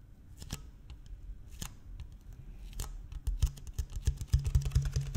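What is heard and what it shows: A large, empty, clear PET plastic water bottle with a blue cap is held in one hand and tapped and scratched along its ridged side with fingertips and nails. Quiet, hollow, dry clicks and crinkly scratches start sparse, then grow denser and louder in the last two seconds as irregular taps and rubs, with a low thump underneath.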